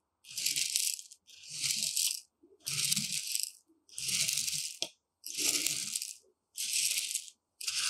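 Two long metal rods are dragged and stirred through a shallow tray of loose, dry, uncooked white rice. About seven separate, roughly one-second bursts of bright, hissing, granular rattling are heard, with short silent gaps between them. There is only a faint low rustle beneath the grains.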